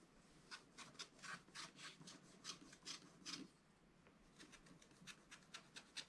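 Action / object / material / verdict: scrape / scratch-art coated paper card and wooden stylus / coated paper / none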